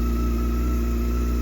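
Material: Nothing is struck.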